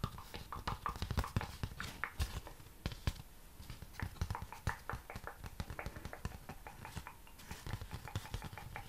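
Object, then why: Honeycomb cardboard. Honeycomb cardboard is tapped in a quick, steady stream of short, dull taps for about nine seconds. Each tap is a soft, low thud with a brief papery click on top that dies away at once, with no ring.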